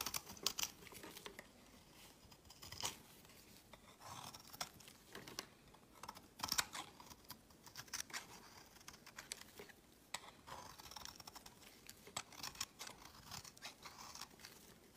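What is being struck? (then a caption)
Bar of soap shaved with a blade. A metal utility knife blade carves and scrapes fine curls off a solid, palm-sized white rectangular bar of soap held in the hand. The sound is a quiet, steady series of crisp, dry scraping and crackling strokes, mostly bright with little low end. Each short burst dies away almost instantly.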